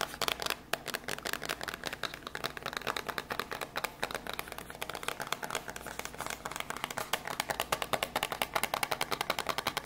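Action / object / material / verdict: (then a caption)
tap / small cardboard box / cardboard / none. Long grey nails rapidly tap a small, hollow, white printed cardboard box holding a PM10 lavalier microphone, held in both hands. The result is a fast, steady stream of crisp, dry clicks with a papery, mid-to-high tone and almost no ring or low end.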